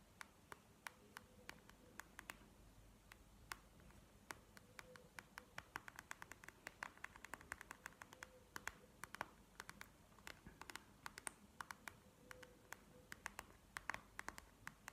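A flat panda sleep mask, a clear plastic gel pad filled with beads, lying on a table, is tapped and scratched with long painted nails. Quiet, sharp, clicky taps land in a steady stream over a soft, continuous scratching rustle.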